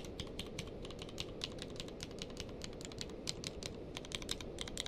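Fingertips type and press single keys on a grey-blue tenkeyless mechanical keyboard with plastic keycaps. A steady stream of short, sharp clicks with bright high clatter rises over a constant low hum. Each keystroke dies away almost instantly.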